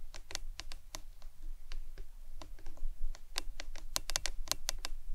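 A hollow, printed plastic lemonade tumbler cup with a green lid lies on its side on a towel and is tapped with long acrylic nails. Quick, dry, bright clicking taps come in irregular, rapid bursts, like typing, and each stops almost instantly. A steady low hum runs underneath.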